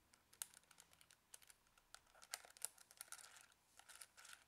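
A small, hollow plastic Casio scientific calculator is held in one hand while the fingertips of the other hand tap its keys quickly, entering input that shows on its screen. The result is a quiet, rapid run of light, dry clicks with a bright, high plastic tone and almost no low end. Each tap stops at once without ringing.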